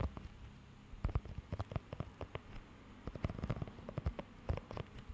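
Fingertips scratch and tap across the raised nubs of a thin, flexible blue rubber pet hair grooming glove held close to the mic. The result is a quiet, irregular patter of short, dry, crackly taps and scrapes, heavy in low thumps with brief bright clicks, over a faint steady hiss.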